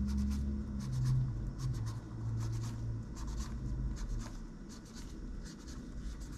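A gloved hand scratches a cotton swab between the keys of a plastic laptop keyboard, repeatedly and steadily. Soft, dry scraping strokes with brief bright ticks come at an uneven pace over a steady low hum.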